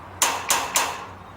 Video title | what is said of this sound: Bill Nye the Science Guy Sea 01 Epis 12 Sound | tap on it you can hear the sound through the fence